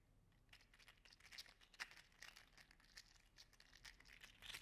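A green and teal segmented 3D-printed PLA articulated slug toy is squeezed in a fist, then dangled and wiggled so its plastic joints rattle. The result is a quiet, dense stream of bright, crinkly clicks and ticks that arrive irregularly, with short sharp peaks and almost no low end.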